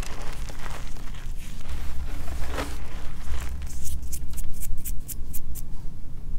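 Bare hands scoop, squeeze and crush a loose pile of white gym chalk powder with small crumbly chunks, then rake through it with the fingers. Soft crunching and crumbling sit over a steady low rumble, and in the second half a run of sharp, bright crackles snaps out as the chunks break apart.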